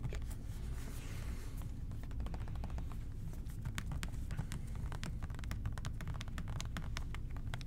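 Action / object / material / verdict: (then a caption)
tap / plastic spray bottle / plastic / none. Fingertips tap the body of an OxiClean plastic spray bottle held near the ear, producing a rapid, uneven stream of short, dry clicks. The taps sit over a steady low, muffled rumble.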